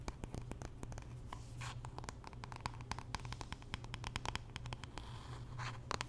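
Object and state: Wooden hairbrush.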